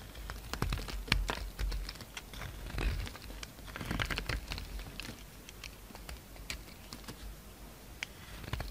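A solid pink bar of soap held in the hand is carved into facets with a utility-knife blade, scraping off chunks. Irregular crisp scrapes and bright clicks come through over a dull, low rumble, with a few louder cuts standing out among quieter shaving.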